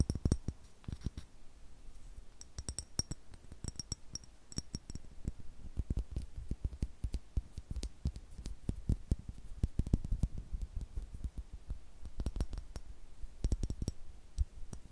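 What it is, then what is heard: Glass perfume bottle. A tall, rectangular clear glass perfume bottle with a gold cap, hollow and partly filled, is held in the hands and tapped along its glass body with fingertips and short nails. About 38 quick, dry taps land in an irregular stream, each with a soft low thump and a faint bright glassy tick. The taps die away almost instantly with no lingering ring.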